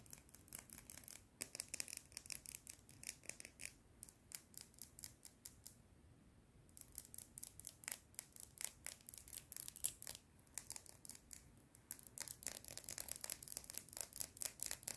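A slim red plastic pen with a clip and hollow barrel, held in both hands, is tapped and scratched along its barrel by long red-painted nails. The result is a fast run of many crisp, bright clicks and scrapes with no ring, briefly pausing about halfway through and resuming to the end.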